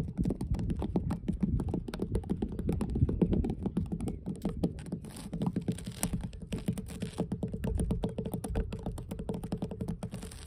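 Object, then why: Weathered wooden dock planks. Long blue nails tap rapidly across solid, weathered wooden dock planks in a steady run of quick, dull, low knocks. Each tap dies out almost at once, leaving a hollow, woody patter with little brightness.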